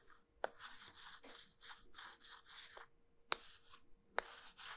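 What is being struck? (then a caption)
Starch-coated soap bar halves. A small, solid, cylindrical pink soap bar coated in starch is split into two halves, held in both hands with long nails, and the halves are rubbed and squeezed together. The result is a steady run of dry, bright, hissing rubbing strokes, broken by a few sharp clicks.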